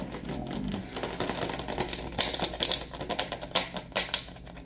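A small clear plastic water bottle with a white cap and label is held in one hand while the fingers of the other hand tap and scratch its plastic body. Quick, bright, crinkly ticks and scratchy rustles come in an uneven stream, with a few sharper taps standing out near the end. Each sound is dry and stops almost at once.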